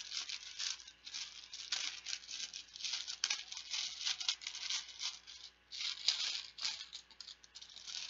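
A hand-sized, yellow, banana-shaped cloth zip pouch from Bananagrams, full of small plastic game tiles, is squeezed and shaken with dark-painted fingernails and fingertips. The tiles rattle and click inside in dense bursts of bright, crinkly, high-pitched clatter with almost no low end. Brief pauses fall between the bursts.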